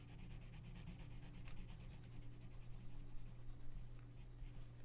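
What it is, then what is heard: Colored pencil rubbing on a paper page. A gloved hand rubs a pink colored pencil back and forth over the paper page of an open coloring book lying flat. The result is a soft, steady scratchy rubbing with quick repeated strokes, set over a constant low hum.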